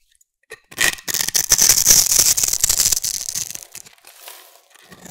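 A solid rectangular green bar of soap, held in one hand with long nails, is scraped with a metal blade that shaves off flakes. After a brief quiet start, crisp, bright scraping and crunching builds into a dense, steady run, then thins out into softer, sparser scrapes toward the end.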